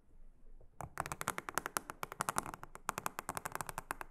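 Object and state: Silicone honeycomb trivet mat.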